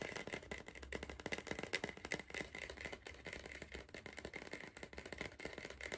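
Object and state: Cardboard crisp tube.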